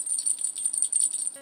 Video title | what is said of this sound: TOP 10 FERRET TOYS! | they've just got a little bell in